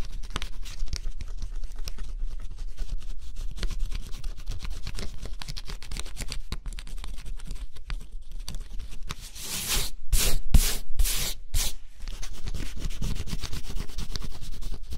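A stylus rubs and scratches the black coating on a flat scratch-off cardboard jigsaw puzzle, making a steady fine, dry scratching over a low, constant hum. Near the end, a run of louder, brighter scraping strokes breaks through before the softer scratching resumes.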